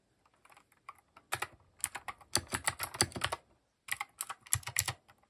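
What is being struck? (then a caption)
Plastic mechanical keyboard. Fingertips type rapid key presses on a compact plastic mechanical keyboard with cream, grey and orange plastic keycaps and RGB underglow, resting on a wooden desk. Sharp, bright clicky keystrokes come in quick bursts separated by short pauses, each press a brief dry tap with a faint low thud beneath it.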